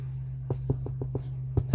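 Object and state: Baked-through bread loaf, sounds hollow.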